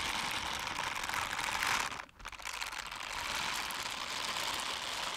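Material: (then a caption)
Silicone. Pink silicone dishwashing gloves with bristled palms, worn on both hands, are pressed and rubbed together so the bristles scrape against each other. The result is a dense, bright, scratchy crinkling texture concentrated in the high range with little low end. It briefly drops to near silence around the two-second mark, then resumes steadily.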